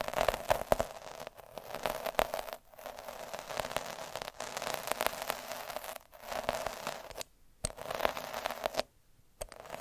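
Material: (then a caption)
Felt. A black plastic derma roller with fine metal needles, held by the fingertips, is rolled and scratched across a thin, soft square of red felt cloth lying on a dark surface. The result is dense, crackly scratching and scraping with a faint steady tone near 600 Hz and bright, prickly edges. The texture runs in bursts broken by short silent pauses near the end.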